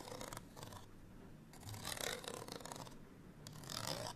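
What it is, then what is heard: Paper card tag scratched with nails. A small, flat printed paper card hang tag is held in the hand and scratched with long nails. Quiet, dry scratching comes in irregular bursts of bright, broadband rasping separated by brief softer gaps.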